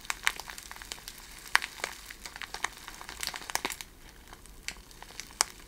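A handful of loose, iridescent plastic cellophane gift shred strands, taken out of their bag, is crinkled and rubbed between the fingers. It makes a quiet, steady stream of sharp, bright crackles and crinkles with almost no low end, each snap cutting off almost instantly. It ends in a sparser, softer rustle.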